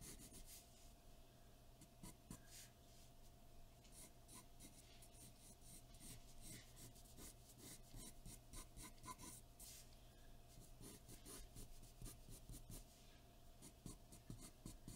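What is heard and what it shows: A graphite pencil shades on a large sheet of white drawing paper taped flat to a dark board, scratching repeated strokes across the surface. The quiet, dry rasping comes in bright bursts over a steady low hum and a faint constant tone.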